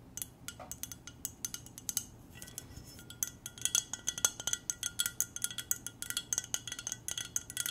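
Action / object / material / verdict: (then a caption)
tap / glass mug / glass / none. Long nails tap a hollow clear glass mug with a silver decal, held in both hands, in a quick, uneven stream of light taps. Each tap gives a bright, high glassy clink with a steady ringing tone that dies away almost at once. The tapping starts soft and sparse, then grows louder and denser in the second half.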